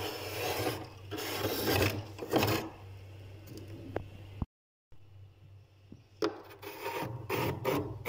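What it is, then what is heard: Frost layer scraped in a freezer. A metal spoon held in a hand scrapes a thick layer of white frost ice on the back wall of a freezer compartment with wire shelves. Repeated rough, rasping scraping strokes run over a steady low hum, with a brief full silence just before the midpoint. The scraping then resumes with bright, gritty bursts.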